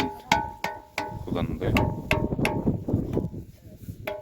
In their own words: 古代には楽器として、また危険なときに危険を知らせるために使用されました。石を叩くと大きな音がします。